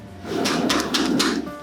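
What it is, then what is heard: Baked stout bread loaf, hollow (cooked through). A freshly baked loaf of stout bread, just turned out of its tin, is tapped on the bottom with a few soft, dull knocks. The hollow sound shows the loaf is cooked through.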